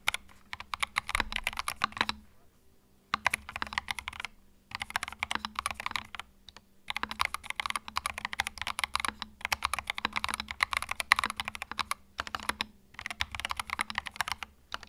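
Fingertips type continuously on a compact white mechanical keyboard with plastic keycaps, producing rapid, bright clacks with no ring, centred around 2 kHz. Brief pauses at about 2, 4.5, 6.5 and 12 seconds break up the typing, and a faint steady low hum sits underneath throughout.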